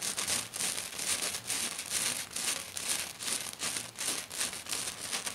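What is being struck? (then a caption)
Glitter-coated sheet. Both hands with curled fingers and black nails scratch hard and fast across a flat silver glitter-covered sheet. The result is a dense, bright, crinkly rasping in rapid, uneven bursts, with almost no low end.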